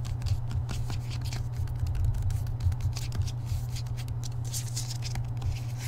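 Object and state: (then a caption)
Hardcover book with paper dust jacket. A hardcover book with a paper dust jacket is held in both hands while fingertips quickly tap and scratch the edges and front of the cover. Rapid, dry, papery taps and scratches crackle brightly over a steady low hum throughout.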